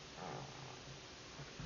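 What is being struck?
Nothing is struck.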